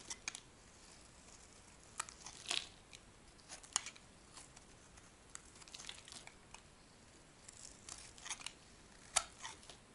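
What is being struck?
Bar of soap shaved with a metal knife.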